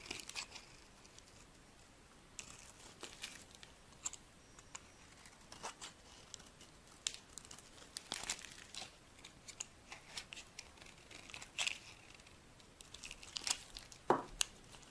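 A solid green oval bar of soap held in the palm is carved with a metal blade into thin sticks. Quiet, dry crinkling and scraping is broken by sharp, bright crunching cuts at irregular intervals, with little low end and almost no ring after each stroke.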